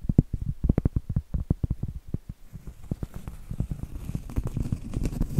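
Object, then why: Cork trivet. Medium acrylic nails tap and scratch on a round, flat, solid cork trivet held upright. Quick, dull, low thuds with almost no ring come in rapid bursts, and a soft, brighter scratching hiss grows stronger toward the end.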